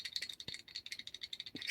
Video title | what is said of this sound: Just Another Day In The Shop Storage Unit Walk Through And Tool Cart Tool👨‍🔧Review Pt99 #nanosocket🤔 | you can hear the play between the socket and the anvil